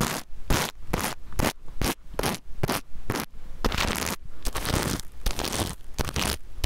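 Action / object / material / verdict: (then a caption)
scrape / sequin fabric pouch with plastic sequins / plastic sequins / none. A small rainbow pouch of reversible plastic sequins is held upright and sideways near the mic while fingernails scratch across it, flipping the sequins. Quick repeated scratchy strokes come in short bursts, and later they blur into a denser rustle with a heavy low rumble beneath the bright, clicky scrape.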